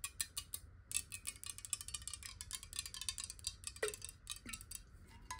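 Long acrylic nails tap rapidly on a square, clear, hollow glass water bottle that is partly filled with water and held and tilted in the hands. The result is a quiet, fast stream of bright, clicky ticks with very short ring, over a faint low rumble.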